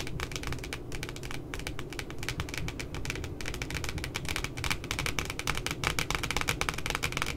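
Long glitter nails tap rapidly and steadily on the glossy laminated cardboard cover of a pink spiral notebook with a puppy design. Crisp, bright clicks come in a dense, continuous patter over a steady low rumble, each tap dying away almost instantly.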